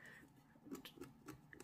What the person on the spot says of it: you tap the wood it's got that Hollow sound to it